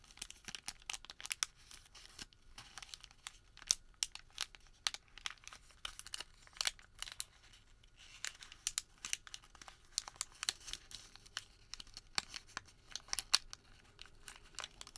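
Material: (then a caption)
Paper. A thin sheet of printed thermal paper receipt is rolled, folded and crinkled between bare fingertips. It makes quiet, bright, dry crackling with many sharp crinkle clicks that stop instantly, with almost no low end. Dense bursts alternate with short, quieter pauses throughout.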